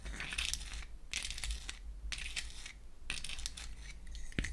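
Long acrylic nails tap and scratch across the wells and back of a small pink-painted wooden toy eyeshadow palette, which is opened and then closed. Bursts of bright, dry scratching and quick clicks alternate with short pauses over a steady low hum, ending in one sharper tap.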